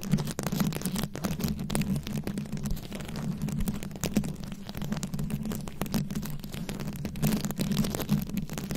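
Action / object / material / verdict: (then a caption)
scrape / microphone head covered in plastic rhinestone beads / plastic beads / none. Long acrylic nails scratch quickly over a fist-sized round microphone head coated in plastic rhinestone beads, cupped in both hands. The result is a dense, continuous stream of rapid, crackly scratches and clicks over a heavy, muffled low rumble with a steady low hum, with little bright content and short bursts that swell and fade throughout.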